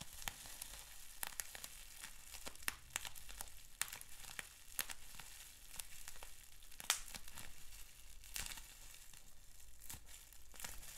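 Fingers pinch, twist and pop a sheet of clear plastic bubble wrap with small bubbles. Steady bright crinkling and crackling runs throughout, broken by scattered sharp, short pops over a faint low rumble.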